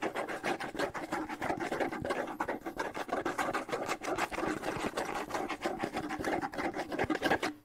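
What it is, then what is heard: Wooden bongo drum with skin head. A small, hollow wooden bongo drum with a skin head is held in one hand while the fingertips of the other hand scratch it rapidly. The result is a fast, irregular stream of dry, raspy scratches with a mid-range emphasis and very little low end. Each scratch is short, with almost no ring.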